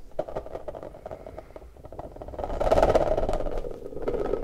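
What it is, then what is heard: Rubber puffer ball. An orange rubber puffer ball is squeezed and rubbed with both hands, its smooth stretched rubber bubble bulging out. Quick, uneven rubbery squeaks and soft scrapes repeat throughout, growing louder and denser in the second half into a bright, squealing rub.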